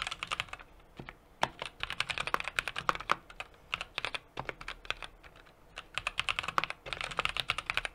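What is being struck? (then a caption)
Mechanical keyboard with aluminium case and plastic keycaps. A 60% mechanical keyboard with an aluminum case, brass plate and plastic keycaps is typed on steadily with the fingertips of both hands. Quick, bright, clacky keystrokes fall in rapid bursts, each dying away almost instantly, with little low end. Brief pauses break the typing near the start and middle of the clip.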